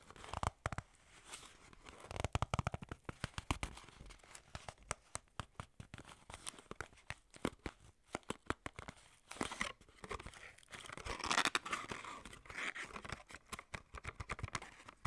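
Long nails scratch and tap the sides of a small, hollow, printed white-and-red skincare paperboard box while the hands grip it. The result is a dense run of sharp, dry clicks and crinkly, papery scratching with a bright edge. Every tap dies away almost instantly.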